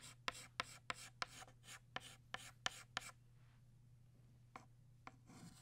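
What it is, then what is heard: Chalk scratching on a chalkboard. A green chalk stick scratches short strokes across a flat black chalkboard while drawing leaves. Eight quick, bright, raspy strokes come in a fast uneven run over the first three seconds, then two more separate strokes follow after a pause, all over a steady low hum.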